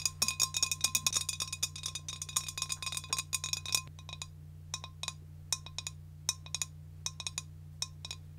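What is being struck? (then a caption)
Glass jar. A large, clear, empty glass jar is held in the hand and tapped with long decorated nails, making quick, bright clinks with a faint ringing tone. The taps come in a fast, dense flurry for about four seconds, then slow to scattered single clicks over a steady low hum.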